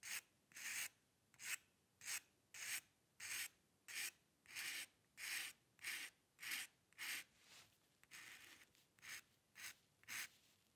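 A metal dip pen nib scratches across a white paper sheet on a dark table while drawing long hair lines. About eighteen short, bright, dry scratching strokes come at a steady rhythm of roughly one and a half per second, each stopping cleanly with no ring. The sound is quiet and high-pitched, with no low end.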